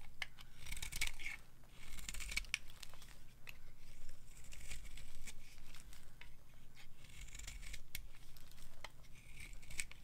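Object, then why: Bar soap scraped with a metal knife. A hand-sized, solid white dry bar of soap held in the palm is scraped with a metal knife blade. The strokes give a series of dry, crisp scraping and crackling sounds with a bright, gritty texture and a tonal edge near 2.3 kHz, over a steady low hum.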